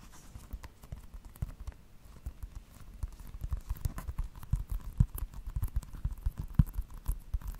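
Fingertips and nails tap a small, flat, hollow plastic video game case with a Just Dance cover, held up beside the microphone. The taps are quick, dry, low-pitched thuds in an irregular, uneven rhythm, each dying away almost at once. They start soft and grow louder and busier after about three seconds.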